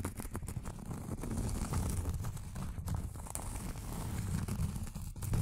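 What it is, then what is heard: Round cork board. A flat, solid round cork board held in the hands is tapped rapidly with long acrylic nails. The result is a steady stream of soft, dull clicks with a low, muffled body around 100 Hz. Each tap dies away almost instantly, with very little brightness.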